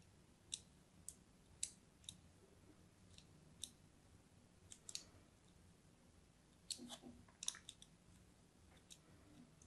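A thin pointed blade scores a crosshatch into a solid, palm-sized orange-and-white striped soap bar held in the hand, with scratching and cutting strokes. The result is a quiet series of sharp, bright, crisp clicks and scrapes that stop instantly without ringing, over a faint low background hum.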